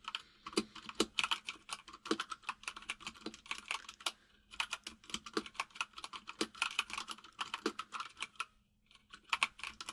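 Both hands type rapidly with the fingertips on a white full-size mechanical keyboard with plastic keycaps resting on a desk. The result is a dense stream of short, bright clacks in quick bursts, broken by brief pauses near the middle and toward the end. A faint steady low hum runs underneath.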